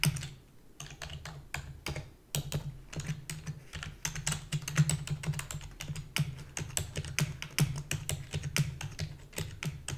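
A full-size black plastic keyboard with a hollow body is typed on rapidly with long fingernails and fingertips, one hand briefly lifting from the keys. Dense, fast clicking taps with bright clacks and a hollow low thud fill the clip, easing off briefly near the start and again around the two-second mark before resuming at a steady pace.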